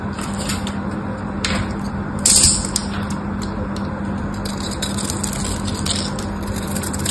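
A solid pink rectangular bar of dry soap with a diamond pattern is held in one hand and shaved with a small black craft knife. The blade crunches off flakes in a steady run of bright, crisp scrapes over a low, constant hum, with one louder burst of cutting a little past two seconds.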